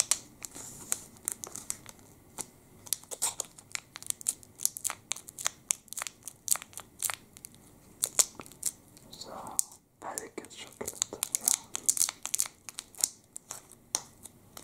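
A full plastic wrapper from a Sport chocolate bar, about hand length, is crinkled and twisted with the fingertips. It makes a dense run of sharp, bright crackles and snaps with very little low end, each dying away almost instantly. A brief, softer rustle leads into a short near-silent gap just before the 10-second mark, and then the crinkling resumes.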